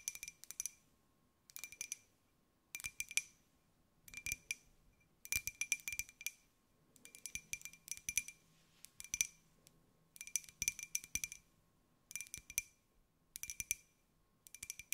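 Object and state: Ceramic mug.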